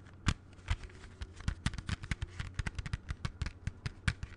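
A closed plastic CD jewel case is held in both hands and tapped rapidly with the fingertips. The result is a quick, uneven run of short, sharp clicks, each with a dull low knock and a bright plastic crack that dies away almost instantly.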